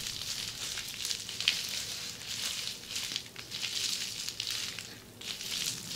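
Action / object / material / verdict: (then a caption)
scrape / plastic bubble wrap / plastic / none. Long polished fingernails of both hands scratch across a large mound of red air-filled plastic bubble wrap resting on a table. The sound is a bright, crinkly scratching hiss with almost nothing in the low end, rising and falling in waves, with small crackles and a few sharper ticks.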